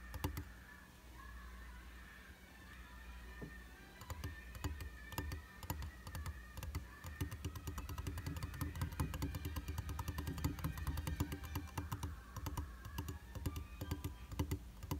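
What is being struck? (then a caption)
Glass mirror in a frame. Fingertips and short nails tap rapidly on the flat, solid glass surface of a round glass vanity mirror in a white frame. After a quieter, sparse start, a dense run of short, dry clicks and light knocks follows, with a steady low hum underneath.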